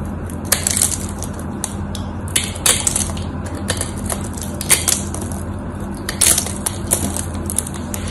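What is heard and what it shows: A knife blade carves cubes off the face and edge of a solid white bar of soap held in the hands, making crisp, bright crunching and crackling snaps in irregular bursts. A steady low hum runs underneath throughout.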